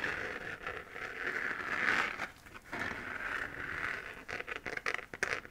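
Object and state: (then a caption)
3D-printed plastic moon lamp. Long fingernails scratch across the textured surface of a hollow, 3D-printed plastic moon lamp sphere glowing white. The result is a dry, crinkly scraping with a strong mid-high hiss that swells in long strokes, then breaks into quicker, choppier scratches toward the end.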